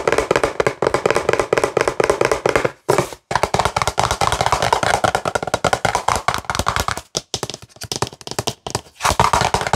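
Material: Plastic.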